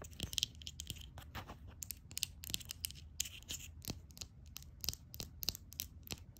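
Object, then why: Small glass nail polish bottle. Long acrylic nails tap quickly on a small glass nail polish bottle, full of red polish and topped with a black plastic cap. The result is a rapid, irregular series of sharp, bright clicks that stop instantly, over a faint low rumble.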